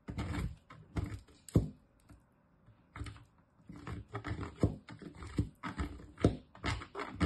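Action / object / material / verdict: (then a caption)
scrape / soap bar on metal box grater / soap / none. A solid green-and-white bar of soap, held in the fingers, is grated repeatedly against a metal box grater, producing shavings. Short, dull rasping strokes with soft thuds come in quick bursts, with a brief quiet pause near the start before the scraping resumes and grows slightly louder.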